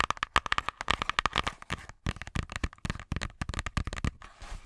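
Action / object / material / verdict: tap / thick cardboard board book cover / cardboard / none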